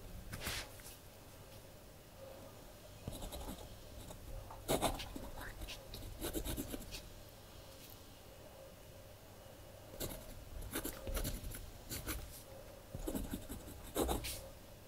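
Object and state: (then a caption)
Pen writing on a paper journal page. A blue ballpoint pen scratches across the collaged paper pages of a spiral-bound kraft paper journal lying flat, writing in small strokes while the other hand holds the journal. Short, bright, scratchy bursts come in irregular clusters over a quiet background with a faint steady hum and low rumble.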